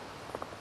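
A flint nodule picked on a beach, fresh out of the cliff rather than battered in the surf, is tapped twice, giving short clear ringing tones around 520 Hz that fade within about a third of a second. The crystal-like ring shows a sound piece of flint with few flaws that would cause problems when knapping.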